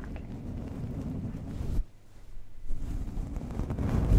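The round metal mesh grille on the hollow head of a large desktop condenser microphone is slowly brushed and stroked by hand with the soft synthetic bristles of a makeup brush. The result is a dense, low, muffled rustling and brushing with no ringing metal tone. It drops to near silence briefly in the middle before the brushing resumes and builds louder toward the end.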